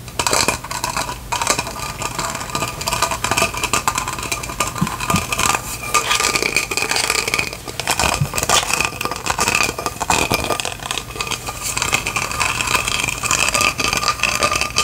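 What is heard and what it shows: A faceted clear plastic lantern jar with lights inside is held and tapped and scratched with long fingernails. The result is a dense, continuous stream of quick, bright clicks and scratchy taps with a sharp tonal ring near 2.5 kHz and very little low end.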